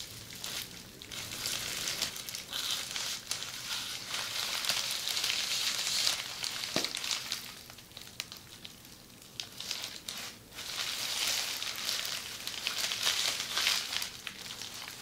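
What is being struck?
Plastic bubble wrap sheet.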